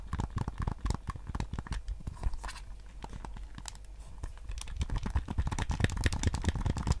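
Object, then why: Hard plastic game controller shell. Fingertips and nails tap and scratch the hollow hard plastic shell and buttons of a handheld-size white PS5 DualSense controller held in both hands. The result is a rapid, irregular stream of short, dry clicks and scratchy rasps, with a low thumpy body and bright scratchy edges. The tapping grows denser and louder toward the end.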